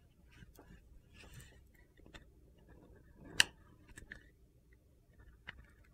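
A solid white Ivory bar of soap with a gold glitter coating is held in the hand and carved and scraped with a metal utility knife blade. Quiet, bright crunchy scraping and small clicks are heard throughout, with one sharp, louder crack midway through.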